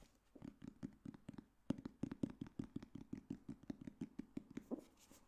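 Fingertips tap and scratch the cover and spine of a solid black hardcover book, "The Girl on the Train." A quick, uneven series of soft, dull thuds centered around 250 Hz is heard, each dying away almost instantly, with faint papery scratches between them.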